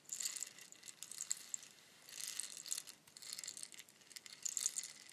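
A long, hollow bamboo rainstick is held in both hands with long nails and tilted so its fill cascades through the tube. It makes a bright, high, dry pattering rattle in several rising and fading waves, with almost no low end.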